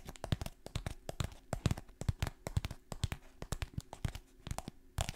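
A kraft paper stand-up pouch, top open and held close, is crinkled and scratched with fingertips and long nails. Rapid, dry crackling and scratching bursts come with soft low thumps underneath, with no ring after each touch.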